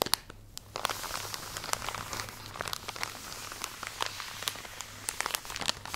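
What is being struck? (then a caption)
Plastic package of cotton pads. Long nails scratch and tap across a full plastic drawstring package of cotton pads, producing bright crinkling and crackling with sharp, quick clicks. A short quiet gap comes before the scratching settles into a steady, dense rustle.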